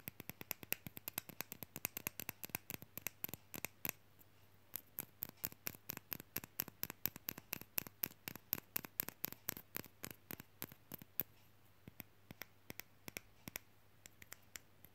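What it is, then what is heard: Painted wooden fridge magnet tapped with fingernails. A small, solid, painted wooden matryoshka nesting-doll fridge magnet is held in the fingers and tapped rapidly with long fingernails. The result is a quick stream of sharp, dry, bright clicks that stop instantly, with a brief pause near four seconds, over a faint steady low hum. The taps grow sparser toward the end.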